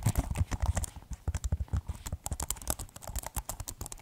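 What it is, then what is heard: Plastic keyboard being typed on. Fingertips type steadily on the keys of a keyboard in a white plastic case, producing a rapid, uneven run of short, dry clacks. Each press lands as a deep, low thock with a brief bright click on top, dying away almost instantly.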